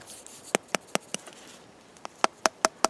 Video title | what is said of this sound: Bannock on a Stick and a New Hobo Cook Kit | I'm tapping it, looking for that hollow sound. And that sounds pretty good. Maybe a little soft there